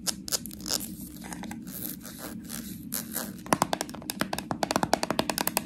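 Long nails scratch and tap on a small, full slime jar with a plastic body and a metal lid. Soft, bright scratching with a few taps fills the first half. It gives way to a quick run of sharp, dry clicking taps that stop almost instantly.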